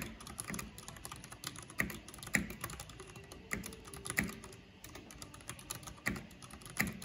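Both hands with long nails type rapidly on a black plastic backlit mechanical keyboard with hollow plastic keycaps. The result is a quick, uneven stream of clacking keystrokes with hollow low thocks and bright clicky tops, punctuated by a few sharper, louder strikes. Each keystroke dies away almost instantly.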